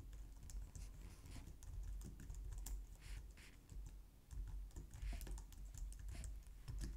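Both hands type on a white plastic low-profile wireless keyboard, striking the keys with long painted nails and fingertips. A steady, rapid stream of soft clacks and taps is heard, carrying mostly muffled low-end weight with faint bright ticks from individual keys. The typing continues unevenly throughout without pause.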